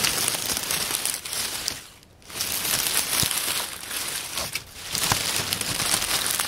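Both bare hands press, crumple and rustle a loose pile of light, crisp, dry brown oak leaves on a wooden picnic table with their fingertips. The result is a dense, bright crackling rustle with little low end, briefly easing off around the two-second mark and again just past four and a half seconds before picking back up.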